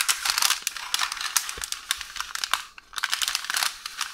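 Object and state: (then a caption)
Roll of baking paper. Long orange nails scratch and tap a roll of beige parchment baking paper, with an unrolled sheet behind it. Dense, bright crinkling and rustling comes in quick overlapping bursts, broken by a brief near-silent pause, with little low end.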